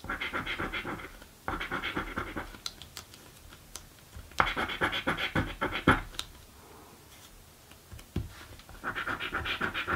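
A coin edge scratches across a thin, flat blue cardboard scratch-off lottery ticket in four bursts of rapid, gritty rasping. Quiet pauses with occasional small clicks separate the bursts. The scraping centres around the upper midrange with bright edges.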